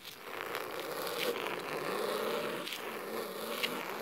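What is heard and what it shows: Fingernails scratch slowly across the cloth top cover of a thick, navy fabric-covered hardcover book resting on a wooden table. The result is a steady, raspy scratching with a buzzy midrange tone and a bright hiss, plus a few sharper flicks along the way.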